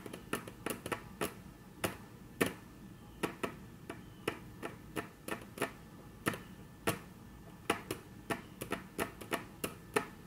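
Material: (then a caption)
Wood. Very long natural nails tap rapidly on a flat, solid, dark brown wood-grain tabletop, making 28 sharp, dry clicks at an uneven pace. Each tap is bright and brief with almost no ring, set against a quiet, steady background.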